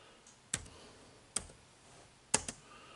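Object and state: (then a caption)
Plastic laptop keyboard keys. Fingertips press the dark plastic keys of an HP laptop keyboard, giving four short, bright, clicky taps with a quiet pause between the first three and the last two close together. Each click is sharp and dies away almost instantly over a low, steady background hiss.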